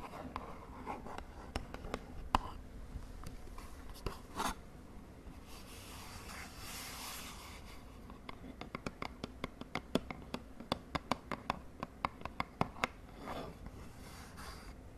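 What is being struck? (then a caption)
Small glossy cardboard box. Long fingernails tap and scratch the faces of a small, hollow, purple and white glossy cardboard cosmetic box as it is turned in the hands. About 31 sharp, dry clicks ring out, with no lingering ring. Softer rubbing and scratching swishes come in between, especially in the middle of the clip.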